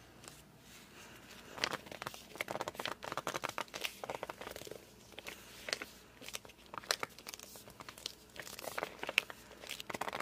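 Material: Coated board.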